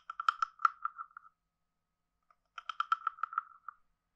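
A wooden stick is scraped along the ridges of a hand-sized, hollow, carved wooden frog guiro. Two runs of quick, dry wooden clicks ring at a steady mid pitch, each about a second long and separated by a pause, with bright edges on the stronger clicks.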